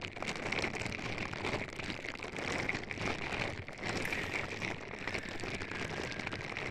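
Purple silicone-bristle scrubber gloves on both hands rub continuously against the silicone ear pieces on both sides of a white binaural microphone box, which has an anime sticker and a vinyl figure on top. The result is a dense, steady, crackly rustling like rain on a surface, with a bright band near 2.2 kHz and a brief dip at about 3.7 seconds.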